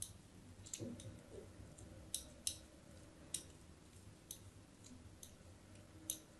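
A thin metal blade scratches a crosshatch of grooves into a hand-sized, solid white bar of soap held in the hand. Quiet, crisp, bright scraping clicks arrive at irregular intervals over a faint low background hum, each one dying away almost instantly.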